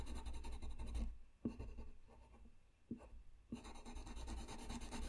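A colored pencil scratches and rubs steadily across a flat white paper sheet lying on a desk while coloring, making a soft, continuous scratching texture. The strokes quiet down in the middle, broken by a few sharp ticks of the pencil, before the dense rubbing returns.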